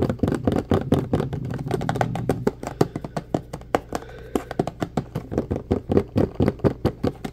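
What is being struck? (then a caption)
Plastic bottle filled with gel. Fingertips and nails tap rapidly on the body and label of a medium orange plastic drain-cleaner bottle with a handle and black cap that appears full of gel. The result is a fast stream of short, dry, hollow knocks with almost no ring, dense and blurred together at first, then spaced into clearer separate taps. A low steady hum sits under the first half.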